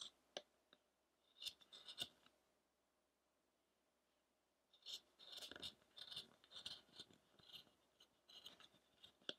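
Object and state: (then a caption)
Wooden statue being carved. A small chisel makes short scraping cuts into the side of a solid pale-wood Buddha figure, a carving of the penance of Shakyamuni, resting on a rough block. Quiet, crisp scrapes come in irregular bursts, bright and airy with a focus near 3.4 kHz and almost no low end. A short run of cuts at the start gives way to a silent pause, then a longer, busier stretch of scraping.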